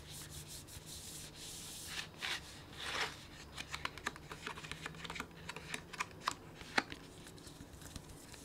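Fingertips and palm rub and squeeze a medium printed plastic snack bag with a kraft-paper look, full of sunflower seeds. Broad, bright crinkling swells during the first three seconds give way to a run of short, sharp crackles with little low end.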